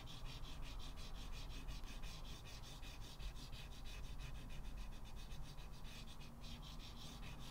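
Short white chalk strokes are scratched by fingertips onto the lower right area of a flat blackboard in a wooden frame. A steady run of quick, gritty rubbing strokes repeats rhythmically, with bright scratchy texture over a low, soft rumble.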